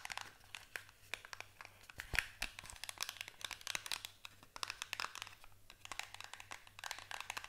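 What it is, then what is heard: Small cardboard box. A small paperboard box is held in both hands while long nails tap and scratch its sides. The result is a steady stream of quick, dry, bright clicks and scrapes with no ring, over a faint low hum.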